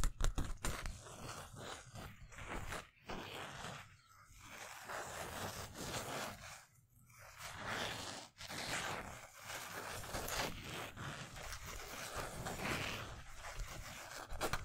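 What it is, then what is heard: Polyester mesh basketball jersey. Fingertips and nails scratch over the yellow twill number 31 and letters on a navy polyester mesh basketball jersey held up in the air. The result is a steady, rough, broadband scraping with a bright, crackly top and a soft low rustle. It pauses briefly a few times before continuing.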